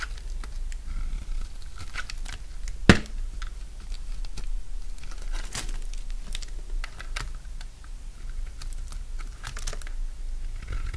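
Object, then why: Bar of soap cut with a knife blade. A solid bar of dry yellow soap held in the hand is shaved into curls with a utility knife blade. The result is a run of short, crisp scraping and crunching strokes over a low, steady rumble. One sharper, louder crack lands near the three-second mark.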